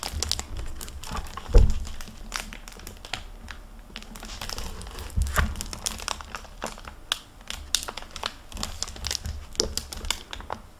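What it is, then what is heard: Hardcover book with plastic dust jacket. Hands open a hardcover library book with a crinkly plastic-covered dust jacket, then handle and turn its paper pages. Dense crinkling and rustling fill the clip with many short, bright crackles. Two soft low thumps stand out near the start and middle.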